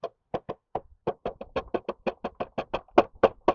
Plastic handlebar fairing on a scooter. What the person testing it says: it kind of creaks and cracks and makes a lot of noise uh from vibrations